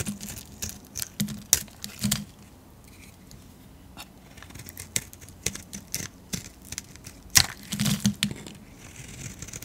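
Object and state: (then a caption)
Soap bar being scraped with a blade. A solid pink painted soap bar held in the palm is scraped and sliced with a metal blade, shaving off soap flakes. Repeated short, bright, crisp scraping and cutting strokes crackle like tearing, separated by quieter pauses, and each stops dry with almost no ring.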